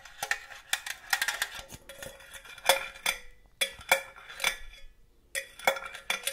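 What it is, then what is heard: Metal cookie tin. Long gold claw nails tap rapidly on a hollow, red and green cylindrical metal cookie tin with a green lid. The result is a stream of bright, clicky metallic ticks over a faint, short ringing tone around 540 Hz, coming in irregular bursts separated by brief pauses.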